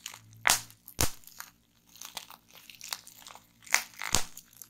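A strip of clear plastic bubble wrap with air-filled bubbles rests on a wooden table while both hands twist it and fingertips pop the bubbles. Sharp, bright pops and crunchy crackles ring out between softer crinkling of the plastic, each snap dying away quickly.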